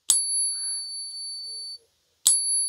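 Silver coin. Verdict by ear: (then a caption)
Real. A 1964 Netherlands Antilles 2.5 gulden silver coin from a bullion dealer order is ping-tested, giving two bright, bell-like rings with a pure high tone. The first ring sustains for well over a second before stopping, and the second strike opens with the same sharp attack. The clear, lasting ring marks the coin as real silver.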